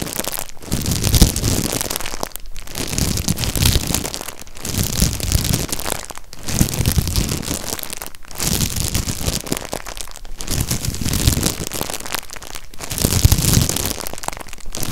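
Fingertips scratch and crinkle the clear plastic wrapper over the bottom end of a stack of ribbed, white, empty disposable cups held close up. The result is a steady, dense crackling rustle with a hollow low body and bright crinkly texture. It breaks into brief near-silent gaps about every two seconds.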